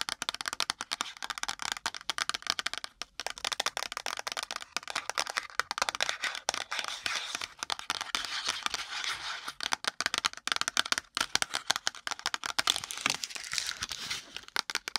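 Long pointed nails tap and scratch fast on a small, thin-walled, blue printed cardboard box of Milk Beauty Soap held close to the microphone. Rapid, dry, bright clicks and papery scratches come in dense bursts with brief pauses and almost no low end.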